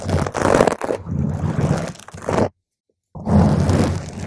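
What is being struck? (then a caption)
Foam microphone windscreen. Long nails on one hand scratch a round purple foam microphone cover, then single nails scratch slowly across its top. The result is a close, muffled crunching and rustling scrape, heavy in the low end, that breaks off into a short silence before resuming.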